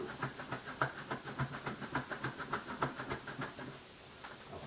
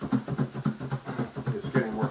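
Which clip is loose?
The first.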